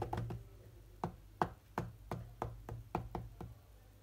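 Fingertips of one or both hands tap sparsely on the glass touchscreen of a large, solid iPad-style tablet lying flat and running a rhythm game. About twelve short, dull knocks ring out at an uneven rhythm, with little high end. Each tap dies almost instantly over a low hum, with a faint tone near 740 Hz.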